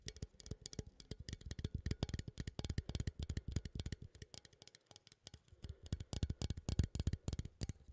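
A small cylindrical metal coffee tin, held upright, is scratched and tapped with fingertips and nails near the lid. The result is a fast, uneven patter of short, dry taps with a dull low thump and bright clicky tops, each dying away almost instantly, with a brief lull near the middle.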